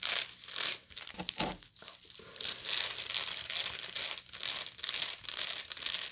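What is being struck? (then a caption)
Woven straw bag. Long nails scratch the surface and rim of a hollow woven straw or raffia bag with a coarse weave, turning and handling the bag between strokes. The result is a dry, bright, crinkly rasping that comes in uneven repeated bursts, with a quieter stretch of softer handling rustle partway through.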